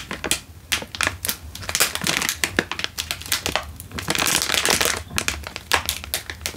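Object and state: Instant noodle packet in a crinkly plastic wrapper.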